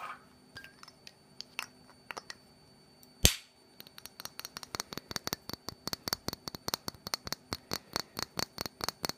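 Fingernails tap and scratch the base and sides of a small, filled, black glitter-coated glass perfume bottle, making sharp, bright clicks. A scattered run of soft taps leads to one loud crack, then a steady, fast series of crisp taps, 32 hits in all.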